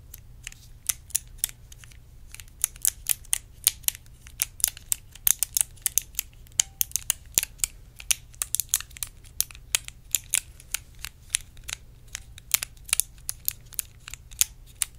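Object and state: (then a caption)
Clear plastic compartment box tapped with nails. Long acrylic nails tap and scratch a small, hollow, clear plastic compartment box held close to the mic. Dozens of sharp, bright clicks and light scratches come in quick, irregular bursts, each dying away almost instantly. A faint low hum sits steadily underneath.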